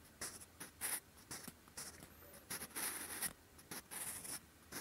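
A sharpened wooden pencil's graphite tip scratches across a lined grey-beige paper notebook page in handwriting strokes. Soft, bright, papery scratches come in short bursts separated by brief quiet pauses, with a dry, close sound and very little low end.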